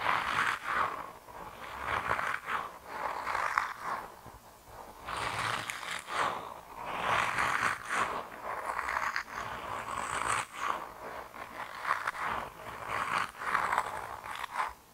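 A hand-sized grey soft rubber mouse toy, solid and flexible, is squished and rubbed with both thumbs and fingertips. It makes repeated swelling bursts of squeaky, squelching rubber friction, centered in the mid range with a bright hissy edge. The bursts come in uneven waves, with little low end.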